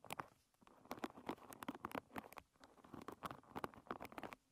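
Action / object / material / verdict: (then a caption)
scrape / hairbrush with wooden pins / wood / none. Long red nails strum and scratch across the many wooden pins of a hairbrush lying bristles-up. The result is a quiet, rapid patter of dry, short clicks and scrapes with almost no ring, centered in the midrange with bright, crisp edges.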